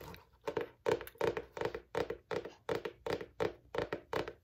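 Fingertips and long nails tap and scratch the cover of a large striped cardboard-cover spiral notebook held flat. The result is a steady run of quick, dull taps, each with a short papery scratch and almost no ring.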